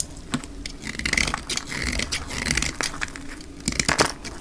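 A solid rectangular dark green bar of hard, dry soap, held in the hand, is scraped and cut with a metal utility blade. It gives off crisp, crackling scrapes and sharp bright snaps, with a thin squeaking tone near 2.3 kHz as the blade drags. Each bite stops short and dry with almost no ring.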